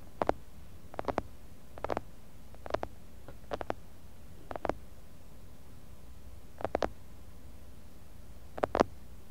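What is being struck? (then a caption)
Glass jar filled with kinetic sand. Fingertips tap the outer wall of a medium clear glass jar full of kinetic sand, on both sides, with a mini mic buried in the sand. Eight quick clusters of two or three soft, muffled taps are heard, spread unevenly over the clip. Each tap is a dull, low-mid thud that stops at once with no ring, against a quiet, low background hum.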